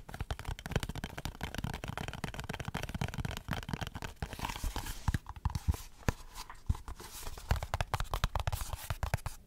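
Fingernails scratch and tap on a small, closed, printed cardboard Dove soap box, then the box is turned over. The result is a dense run of quick, dry scratches and short, crisp taps with a soft, thuddy low body, steady at a quiet level throughout.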